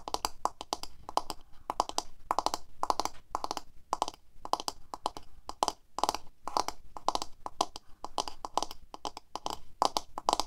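Long fingernails on both hands rapidly tap the hollow plastic handle and back of a medium black paddle hairbrush with plastic bristles, lying on a table. The result is quick bursts of dry, hollow clicks with a ringing tone near 850 Hz and a bright top. Each tap dies almost instantly, with short pauses between the clusters.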